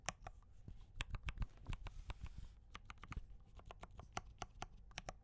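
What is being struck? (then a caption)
Mechanical keyboard with plastic keycaps. A compact mechanical keyboard with cream and red plastic keycaps and Gateron brown switches, typed on with the fingertips of both hands. About 20 quick, irregular key taps sound as short, crisp clicks with bright tops over a soft low thud.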